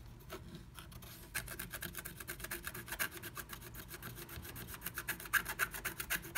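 A pointed wooden stick scratches flat black scratch art paper through a moon-shaped cut-out in a blue plastic stencil, making fast strokes that reveal red colour underneath. The sound is a quiet, dry rasping of rapid, uneven strokes with bright, hissy edges and a tone around 1.6 kHz. It starts softly, then grows denser and louder toward the end.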